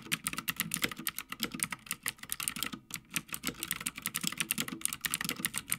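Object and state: Mechanical keyboard with plastic keycaps.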